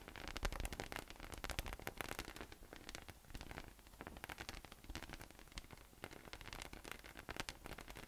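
A yellow, hollow, inflated PVC spiky massage ball with nubs rests on a table and is tapped on top with the fingertips. Quick, dense tapping produces soft, hollow low thumps with bright, crackly clicks and rustling over a faint noisy background.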